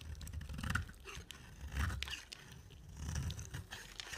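A utility knife blade scrapes and carves pink curls off a solid, dry, pink oval soap bar with a dark coating. The result is a quiet, dull scraping crunch heavy in low tones, rising and falling in uneven swells with faint bright rasps.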